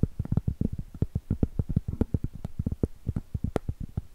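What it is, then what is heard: Round cork trivet. Long pointed acrylic nail tips tap quickly and irregularly across the surface of a large, thin, flat, solid round cork trivet held flat. Each tap is a short, dull, low thud that dies away almost instantly, with an occasional brighter click on top.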